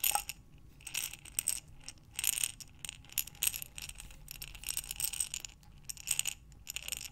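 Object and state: Glass jar full of buttons.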